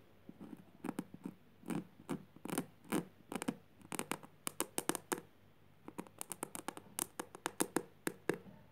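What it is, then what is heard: Jute burlap fabric. Long purple nails scratch across a flat woven jute burlap surface, the fingers curling as they drag over the coarse weave. A quick, uneven series of short, dry, raspy scratches sounds, some in brief clusters and others as single strokes, with a brief pause partway through. The sound is quiet and close, with a bright, papery edge and almost no ring.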